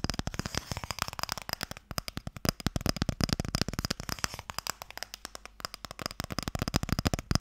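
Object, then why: Small wooden stick-game box. Fingertips and nails tap rapidly on the lid of a small, closed, pale wooden Mikado box, a hollow box that holds the sticks. Dozens of quick, dry, hollow taps follow one another, each with a low woody knock and a bright clicking edge that dies away almost at once.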